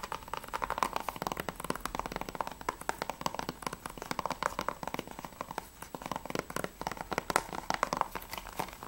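Fingertips and nails tap fast on the front of a closed, hollow plastic PS3 game case for Assassin's Creed III held in the hands. The result is a dense, continuous stream of short, dry clicks with a mid-range plasticky tone, small bright edges and almost no ring, with occasional louder taps standing out.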